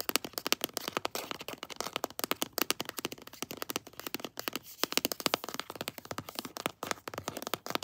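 Long blue nails tap fast on a pink floral plastic lotion tube held upright. Dozens of quick, dry, bright clicks overlap in a steady clatter, each dying at once with no ring and almost no low end.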